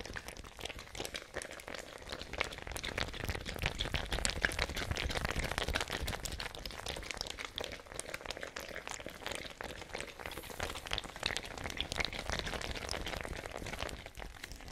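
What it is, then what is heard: Fabric ice bag with plastic cap, partly filled with water. A small fabric-covered ice bag with a white plastic cap, partly filled with water, is shaken and squeezed by hand while long nails tap and scratch the cap. The result is a steady, dense stream of crinkly fabric rustle, soft water sloshing and rapid bright clicks and crunches, with no pauses throughout.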